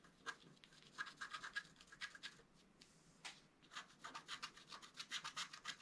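A wooden stylus scratches strokes into the coating of a flat black-coated scratch art card, working from the center toward the right edge. A quick series of short, dry, bright rasping strokes comes in bursts with a brief pause in between, and each stroke stops with almost no ring.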